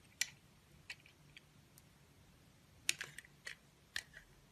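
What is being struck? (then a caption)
Bar of soap cut with a blade. A utility knife blade carves thin curls off a solid blue oval bar of soap held in a hand with long nails. Quiet, crisp, bright scraping clicks come in scattered short bursts that die away almost instantly, with a few faint ticks between them.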